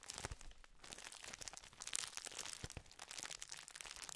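Fingers crinkle and squeeze a full biscuit tube made of gold foil-lined metallized plastic wrapper. A dense, continuous run of bright, crisp crackles and rustles fills the clip, with a few louder snaps and faint low thumps from handling.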